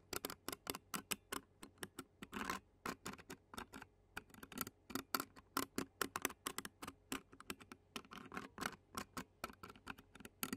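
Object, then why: Metal mesh microphone grille. Clear plastic fork tines rapidly scratch the black metal mesh grille of a handheld Zoom recorder. About 48 short, dry, crisp scratching ticks ring out in quick succession. Each one is bright and broadband, around 1.3 kHz and above, and dies away almost instantly.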